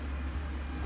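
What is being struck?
Nothing is struck.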